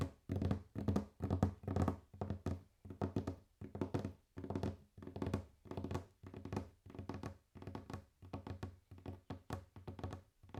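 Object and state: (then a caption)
Wooden table. Fingers tap and knock on a wooden table in quick, irregular bursts. Each flurry gives dull, low thunks with a short, dry decay, separated by brief pauses.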